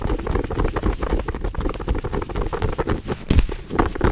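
Long nails scratch and tap a small, soft, stuffed pouch of brown fuzzy fabric shaped like a cookie or toast. The result is a dense, muffled patter of soft, low thuds and rustling scratches. A few brighter, sharper scratches stand out near the end.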